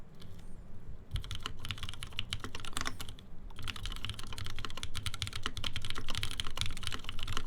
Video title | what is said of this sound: gaff.60 hhkb Build Stream | it sounds tinny. Yeah, it sounds hollow.